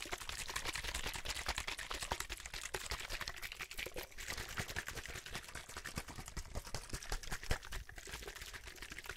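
A clear, hollow plastic drinking bottle holding some liquid is tapped with the fingertips while being turned and tilted in the hand. It produces a rapid, steady stream of light, crisp clicking taps with bright, crinkly plastic detail and a faint trace of liquid movement. A low, steady hum sits underneath throughout.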